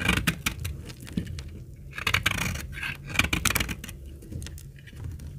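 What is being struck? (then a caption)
Laundry soap bar being sliced with a blade. A snap-off utility blade cuts slices from the edge of an old, dry, solid dark brown laundry soap bar held in the hand. A rapid run of short, crisp, bright scraping cuts and crackles follows, each dying away almost at once over a low background rumble.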